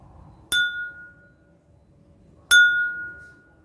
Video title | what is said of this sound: IPA - Kelas 4 SD (Sumber Bunyi) | suaranya seperti ada getaran